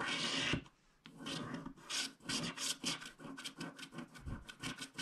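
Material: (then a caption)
Coated paper. A wooden stylus scrapes the coating off along the left strip of a flat, black-coated paper scratch card held in one hand. Dry, bright, raspy scratching strokes come in an irregular rhythm, with a brief quiet pause near the start before the scraping resumes.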